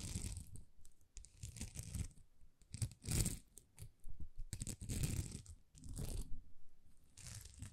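Long nails scratch across a thin, flexible plastic sticker sheet of small rhinestones. It makes a series of crinkly, tearing scratches in bursts, with bright, hissy edges over a low, dull rumble. Short pauses fall between the bursts.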